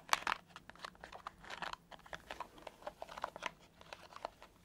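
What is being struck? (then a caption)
Silicone scalp massager brush. A palm-sized purple silicone scalp massager brush has its soft bristles scratched and tapped with fingertips and nails. The result is a quiet series of short, dry crackling taps and scratches with bright, crisp edges and almost no low end. Seventeen separate hits can be picked out.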